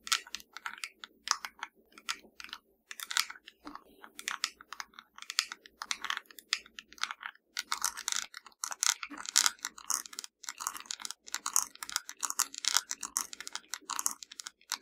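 A small, hollow black plastic TV remote with blue and purple rubber buttons is held in one hand and tapped and scratched with the long nails of the other hand. The result is a rapid, uneven stream of sharp, bright clicks and crisp scratching, with short pauses, over a faint low hum.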